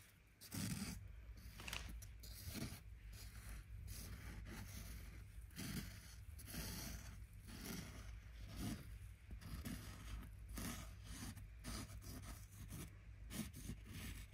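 A large cream canvas-like tote bag with a floral print and "HELLO SUMMER" text stands hollow and partly filled on the floor while long red-painted fingernails tap and scratch its fabric side. A steady series of soft, dull taps and raspy scrapes runs over a constant low hum, each tap fading quickly.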